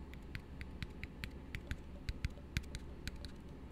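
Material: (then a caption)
Plastic. Fingertips tap on an empty, hollow blue plastic tumbler held upside down. A quick, uneven run of light, dry taps follows, each a short bright click with a soft low thump that dies away almost at once. A steady low hum sits underneath.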